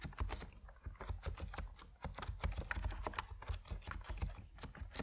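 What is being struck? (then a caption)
Plastic mechanical keyboard with PBT keycaps. Fast fingertip typing on a compact plastic Epomaker NiZ Plum Atom 68 mechanical keyboard with white and purple PBT keycaps. A dense, steady run of short keystrokes sounds as deep, muted thocks with a faint bright click on top. Each stroke dies away almost instantly.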